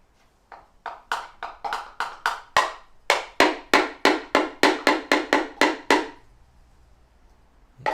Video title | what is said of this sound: BMW 318d N47 Diesel Timing Chain – Sump & Timing Cover Removal (Part 5) | the sound changes as you're tapping it